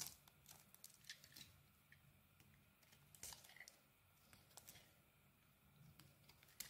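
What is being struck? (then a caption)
Soap bar cut with a small metal blade. A small metal blade held in the fingers slices and carves the edges of an orange bar of soap. Quiet, bright, crisp scraping and crinkly shaving sounds come in short irregular bursts over a faint low background hum.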